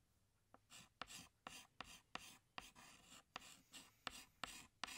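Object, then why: Chalk stick on a chalkboard. A hand draws leaves with a green chalk stick on a large flat black chalkboard. About eleven sharp chalk taps are each followed by a bright, dry scratching stroke, with quiet pauses between them. The sound is thin and high, with almost no low end.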